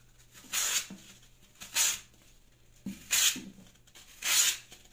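A plastic Y-peeler with a metal blade shaves strips off the surface of a hand-sized solid block of green phenolic floral foam held in the hand, the strips falling onto a pink mat. Four separate scraping strokes come through as bright, dry, hissy rasps, each about half a second long. Each is preceded by a faint soft tick and separated by quiet pauses.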